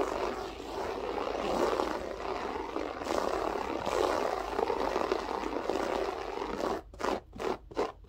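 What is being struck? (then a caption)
Loop-pile floor carpet. Long acrylic French-tip nails scratch and rake quickly across a flat beige loop-pile carpet with a textured pile. A continuous, dense scratching hiss rises and falls for most of the clip, then breaks into several short, separate rakes at the end.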